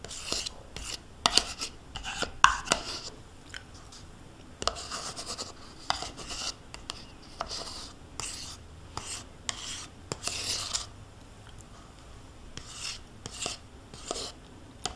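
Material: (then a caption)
Plastic. A metal spoon scrapes the inner wall of a small white plastic yogurt cup, mostly empty with yogurt residue, held in hand. Irregular bursts of bright, rasping scraping come and go with quiet gaps between them, and an occasional sharper tick rises above the rest.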